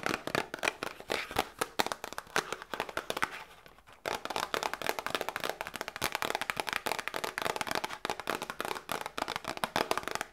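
A small hollow cardboard Grippostad medicine box, held in the hands, is tapped and scratched with long nails. Rapid, dry, crisp clicks and scratchy rustles fill the clip, with a brief quieter stretch just before the four-second mark. The sound is bright and papery with almost no low end or ring.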